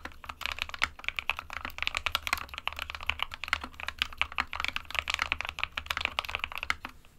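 A small 60% mechanical keyboard with a plastic case and plastic keycaps, hollow with switches inside, is typed on continuously with the fingertips of both hands. Rapid, bright, short clicks and clacks overlap in a steady stream with very little ring, over a faint low hum.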